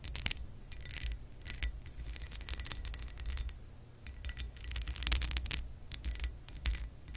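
Long acrylic nails scratch and tap across the textured surface of a hollow embossed glass lamp base. Dense bright clicks, ticks and scratchy rasps come with short glassy high-pitched rings, over a steady low rumble near 62 Hz. The tapping swells and eases in uneven bursts throughout.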